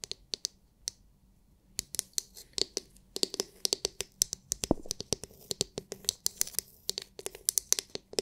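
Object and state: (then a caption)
Plastic massage brush. Long nails tap and scratch the hard, clear, glitter-filled plastic dome of a palm-sized oval massage brush. A few sparse taps give way, after a brief pause, to quick, irregular bright clicks with soft scratchy hiss between them. Each click is sharp and dies away almost instantly.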